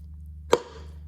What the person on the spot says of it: And that's what you want to hear. You want to hear that solid sound when the converter's all the way back.